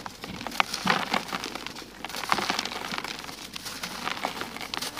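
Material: Sand-cement.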